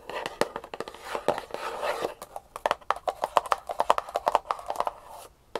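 Long painted nails scratch and rub along the sides of a small, closed, hollow kraft cardboard jewelry box held upright in one hand. The result is a quick run of dry, hollow clicks and scratchy rubbing, with a boxy midrange tone near 1 kHz and a few softer brushing stretches between the sharper taps.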